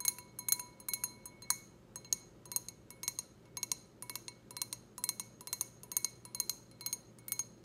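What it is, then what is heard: Stemless wine glass tapped with fingernails. A clear, empty, hollow stemless wine glass with a white logo is held in the hand and tapped with long red acrylic nails. A quick, irregular run of sharp, bright glassy clinks follows, each a thin high ping that dies away almost at once over a faint low hum.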